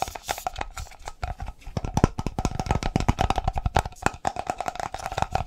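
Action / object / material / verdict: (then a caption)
tap / plastic coffee can / plastic / none. A hollow black and orange plastic coffee container is tapped and scratched fast with fingertips and nails. The result is a dense run of short, dry, hollow knocks, low and thumpy in body, that die away almost instantly. A faint steady tone sits underneath.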